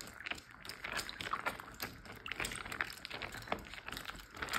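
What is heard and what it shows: Fingertips and short nails tap the surface of a large, clear plastic Ziploc bag full of water lying flat. Quiet, bright, quick taps and soft crinkles of plastic blend with faint watery squishes and sloshes in a steady, irregular patter.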